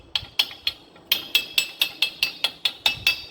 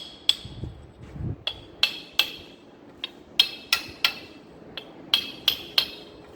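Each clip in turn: First: Thirteen sharp, high metallic taps around 2.6 kHz, each dying almost at once: a seal driven fully home. Second: A dozen sharp, high metallic hammer taps that die almost at once: the seal is still creeping into its bore.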